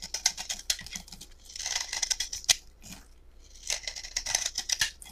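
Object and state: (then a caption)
Bar soap being shaved. A metal utility knife blade shaves and scrapes a solid, peach-colored rectangular bar of soap held in both hands, peeling off curls and flakes. Irregular bursts of crisp, dry, high-pitched scraping and crackling come in close succession, with a quieter stretch around the middle before the scraping picks up again.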